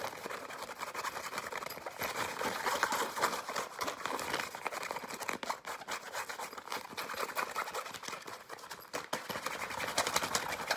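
A soft, hand-sized green and black nylon fabric pencil pouch with a zipper is tapped and scratched rapidly with nails and fingertips. It produces a dense, continuous crackle of dry scratching and light taps, mostly in the mid range with bright edges and almost no low end.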